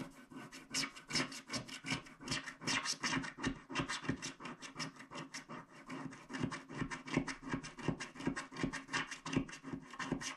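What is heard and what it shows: A wooden stick scrapes the left black strip of a small, flat paper scratch art card with a black wax coating in rapid strokes. The result is a steady run of dry, bright scratches, just under three per second, each with a faint low hum around 270 Hz and almost no ring after it.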